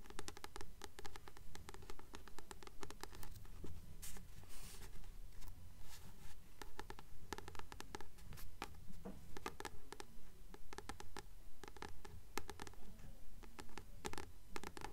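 Long nails tap and scratch the glossy card cover of a solid blue paperback book held up in the hand. Steady, regularly paced soft taps with a low, dull body mix with bright, dry scratching clicks throughout.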